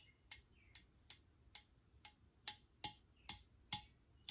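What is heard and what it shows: Long nails tap on the body of a hand-held Lysol metal aerosol spray can, giving ten sharp, bright ticks at an uneven pace. Each tap is crisp and dies away almost at once, with a faint thin tone between some of the taps.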